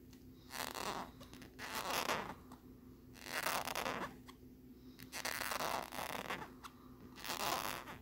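Short fingernails scratch and tap across the lenticular peace-sign back of a hollow, hard plastic phone case held in both hands. Bright, raspy scratching comes in repeated swells with brief tapping clicks between them. A faint steady low hum sits underneath throughout.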